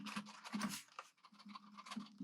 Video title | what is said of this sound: AJazz AK50 Budget Mechanical Keyboard | can hear that rattling already